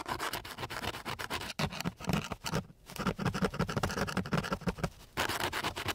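The end of a flat wooden stick is rubbed rapidly back and forth across a flat, gritty sheet of coarse sandpaper. The result is a dense run of short, raspy scratching strokes with a bright, hissy grit and some low body. The strokes come in bursts separated by a few brief pauses.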